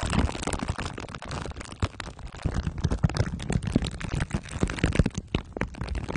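Glue sticks are rubbed over the sides and top of a microphone whose head is wrapped in crumpled aluminium foil under clear plastic wrap. The result is a dense, continuous stream of sticky crinkling and scraping with a heavy, rumbling low end, and the rubbing strokes swell and fade in quick succession.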